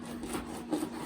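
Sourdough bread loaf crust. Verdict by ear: Crispy.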